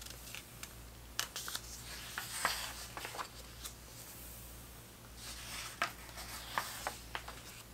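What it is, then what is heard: Paper pages of a hardcover book. Hands flip the thick printed paper pages of a large open vintage hardcover book about 1970s soccer, with fingertips brushing across the paper. Around eleven sharp, bright paper flicks stand out over a soft, continuous rustle and a faint low steady hum. The result is a quiet, crisp page-turning sound with no talking.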